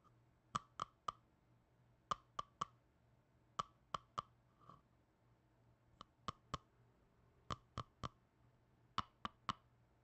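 A small red plastic tub, its lid partly separated, is clicked on and off and tapped with black-gloved fingers. About nineteen short, dry plastic clicks come in quick bursts of three, each with a hollow tone near 1.2 kHz and a bright edge, dying out almost at once against a quiet background.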